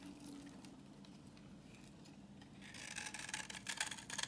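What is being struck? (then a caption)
Bar of soap scraped with a knife blade. A solid, translucent reddish-brown bar of dry vintage soap, held in the hand, is scraped with a utility knife blade, shaving off orange curls. After a quiet, low stretch, the scraping turns into a rapid run of crisp, bright, dry scratches that grow louder toward the end.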